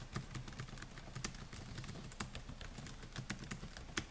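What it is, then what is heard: Plastic laptop keyboard. Fingertips type on the plastic keys of a silver Dell laptop with a metal and plastic body, making a steady run of quick, soft taps. Each keystroke is a short, dry click with a low thud underneath and a brief bright edge, fading almost instantly. The overall level stays quiet and even throughout.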